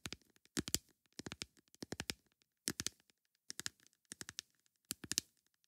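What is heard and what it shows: A plastic lid is tapped with long nails in short bursts of quick, sharp clicks, about eight clusters of three or four taps each. The taps are bright and crisp, with almost no ring and little low-end weight, separated by brief silences.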